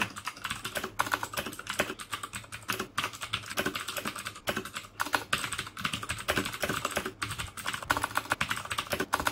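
Fingertips type steadily on the keycaps of a black plastic mechanical keyboard with clicky Cherry MX Blue switches. A fast, continuous stream of sharp, bright clicks, each decaying almost instantly, rings around 1.5 kHz over little low end.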